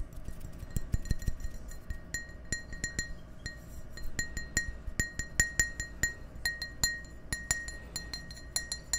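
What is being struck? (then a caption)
Glass tumbler. Fingertips and nails tap the wall of an empty, hollow clear glass tumbler held close to the microphones. Many quick, bright clinks sound over a low steady hum, each with a short ring near 1.9 kHz and high overtones.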